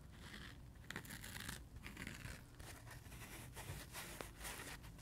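Fingertips and nails scratch and tap the green side of a dry, solid, rainbow-striped foam sponge. The result is a quiet run of soft, crinkly scratching bursts with bright, papery edges over a steady low rumble, punctuated by a few sharper taps.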